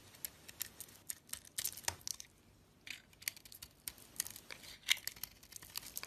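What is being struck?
Bar of soap.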